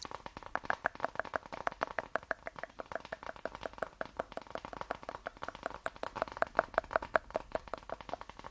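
A small, flat, lilac-grey faux leather wallet or clutch, held in both hands, is tapped and scratched with long painted nails. Quick, dry, evenly spaced taps run throughout, centred in the midrange with almost no ring, and soft scratching fills the gaps. The level stays quiet and steady across the clip.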